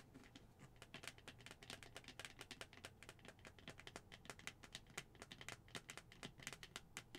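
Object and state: Plastic skull cup tapped with nails.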